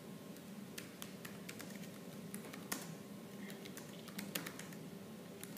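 Both hands type rapidly on a laptop keyboard with black plastic keys, using fingertips and nails. About sixteen sharp, bright key clicks stand out over a steady low clatter of quieter keystrokes and a faint hum.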